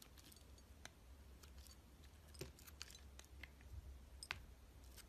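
A utility knife blade cuts and scrapes thin slices off the surface of a solid yellow translucent glycerin soap bar held in hand. Quiet, crisp clicks and short bright scraping ticks come irregularly over a steady low hum.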